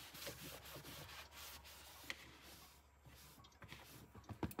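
A hand holding a pink cloth rubs and wipes the wet floor and lower bin area of an empty mini fridge's hollow, black molded plastic interior liner. The result is a steady, broadband scrubbing hiss with soft, dull knocks and squeaky catches, growing busier and louder in bursts near the end.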